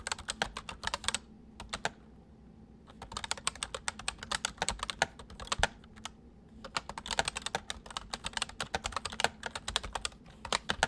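Fingertips of both hands type on a white full-size plastic MSI mechanical keyboard with hollow keys, producing rapid bursts of sharp, bright clicks with very short decay. The typing pauses briefly near the two-second mark and again around six seconds before resuming in quick runs, over a faint steady low hum.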